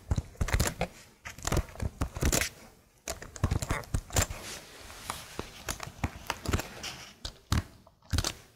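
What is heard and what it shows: Long blue nails tap and scratch across the plastic keycaps of a laptop keyboard, heard up close. Quick bursts of crisp, clicky taps mix with bright scratchy brushing, each sharp click dying away almost at once, with short pauses between the flurries.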